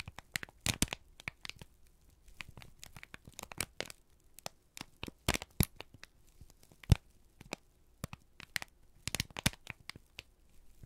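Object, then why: Thin kraft paper sheet. A single thin, crumpled sheet of brown kraft paper is held in both hands and squeezed and crinkled with the fingertips and thumbs. It makes a steady run of dry, irregular crackles and crinkles, with sharp, bright snaps standing out now and then against a low, quiet background.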